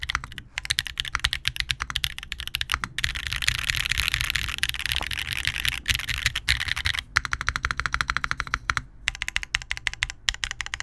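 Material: Plastic.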